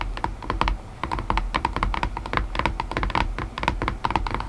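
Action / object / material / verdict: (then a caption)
tap / cardboard box with loose lid / cardboard / none. Long painted nails tap rapidly on a hollow white cardboard puzzle box whose lid rests loosely on its base. The result is a steady stream of quick, dry clicks with a hollow, mid-pitched knock around 900 Hz and almost no ring.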